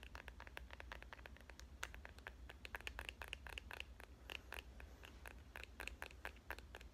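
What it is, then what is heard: Smartphone in plastic case, fingernail taps. Long painted fingernails tap rapidly on the back of a smartphone in a clear plastic case printed with avocados, held in one hand. Quick, sharp, bright plastic clicks follow one another with no ringing, over a steady low hum.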